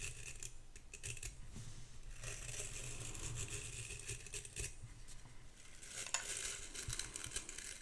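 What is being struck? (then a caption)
Metal-backed bristle hairbrush. Long pink acrylic nails scratch the dense bristles of a vintage hairbrush with an embossed bronze-coloured metal back and handle, held in front of the mic, and tap on its metal back. A steady, bright, crackling scratch runs throughout over a soft low rumble, with a few sharper clicks standing out near the end.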